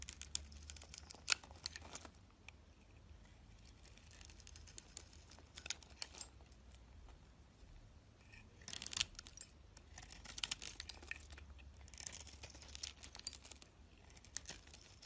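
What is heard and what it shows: A metal box-cutter blade carves and scrapes a solid hand-held bar of soap with a pink outer layer and a cream-white core. Crisp, bright scraping and crackling strokes come in bursts between quieter stretches, with the densest shaving near the start and again toward the end. A faint low hum runs underneath throughout.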